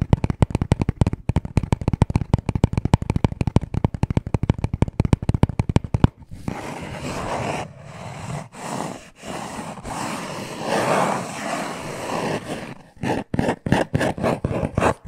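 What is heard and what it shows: Short nails tap rapidly on a small, hollow black cardboard necklace package, producing a quick run of dry, low, knocking taps. The tapping then turns into several seconds of continuous scratching in swelling bursts across the cardboard surface, before ending with a few final taps and short scratches.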